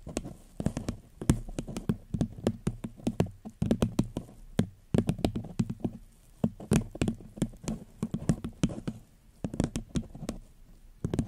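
A paper cup is gently tapped with the fingertips on the microphone in a long, uneven run of quick, soft knocks. Each tap is a short, dull, low thud that dies away almost at once, with little brightness.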